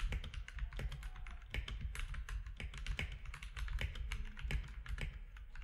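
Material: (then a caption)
Plastic. Fingertips of both hands type rapidly on a compact mechanical keyboard with grey, white and orange plastic keycaps. A steady stream of short, sharp clacks rides over a constant low hum, and each keystroke is crisp and dies away almost instantly.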